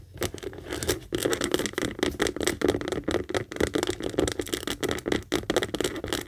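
Long acrylic nails rapidly tap and scratch the textured saffiano leather of a medium pink Kate Spade handbag, working first on the hollow bag's base and then on its front panel. The result is a dense, continuous run of quick clicks and dry scrapes with a hollow, boxy body around 360 Hz and bright scratchy edges.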